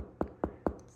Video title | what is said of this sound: How To Make Real Bread (with my mom) | a good way to check it if it sounds Hollow it's done